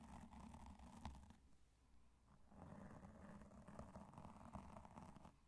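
Two cotton swabs rub across the top of a black foam microphone windscreen, producing a soft, low, rumbling brush with faint scratchy texture. The rubbing is steady, dips quieter in the middle, then picks back up with a few small scuffs before fading.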